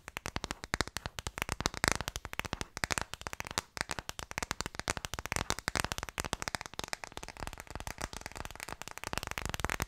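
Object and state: Plastic phone case.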